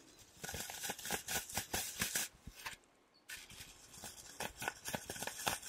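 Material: Floral foam.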